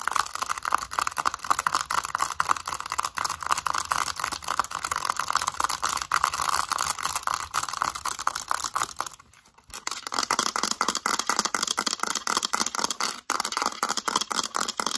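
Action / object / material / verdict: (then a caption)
tap / plastic calculator / plastic / none. Long acrylic nails tap rapidly on a mint-green plastic calculator, first across its keypad and then on its back. The result is a dense stream of sharp, bright plastic clicks with almost no low end. The clicks break off in a short pause just before the tapping resumes.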